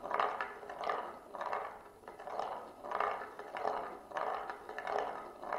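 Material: Wood, glass.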